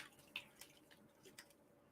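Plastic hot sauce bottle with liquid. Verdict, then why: Full. An unopened, fresh, full plastic bottle of Reaper Squeezins hot sauce is shaken close up so the liquid sloshes inside. Quiet, bright, drip-like splashes and short sloshes come in brief bursts with almost no low end.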